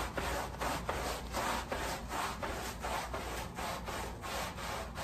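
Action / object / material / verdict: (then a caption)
scrape / woven fabric pile rug scrubbed with a bristle brush / fabric / none. A long-handled, wooden-backed deck brush with natural bristles scrubs a wet, soapy patterned pile rug lying front side up on plastic sheeting. Steady back-and-forth strokes make a rhythmic, wet, rasping swish, with a soft low rumble underneath and a bright hiss on top.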